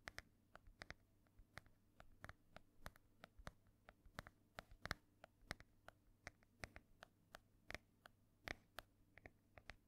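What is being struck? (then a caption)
Embossed hardcover book cover. Long nails quickly tap and scratch across the cover of a solid, ornate embossed hardcover book held up near the mic. The result is a rapid, steady run of sharp, dry clicks with bright, high edges and almost no ring, over a faint low hum.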